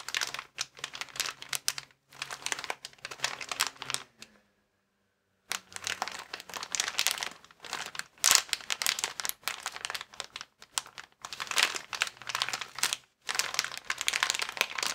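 A transparent, inflated plastic air column cushion bag with vertical air-filled columns is pressed and squeezed with thumbs and fingertips. It gives off dense, bright crinkling and crackling in uneven bursts, with a brief silent pause partway through.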